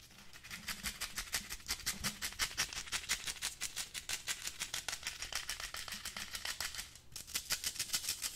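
A small, hollow, empty black wire-mesh desk pencil holder is held in one hand while the fingernails of the other scratch along its mesh sides. The result is a quick, uneven run of bright, dry rasping ticks, mostly high in pitch with little low end, with a brief lull near the seventh second before the scratching picks up again.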